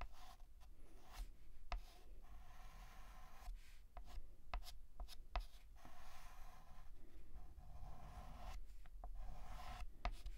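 A hand draws a curved letter S with a stick of white chalk on a large, flat, black painted blackboard. Soft, dry scratching strokes hiss across the mids, broken by brief pauses and a few sharp, bright ticks as the chalk meets the board. A low hum sits steadily underneath.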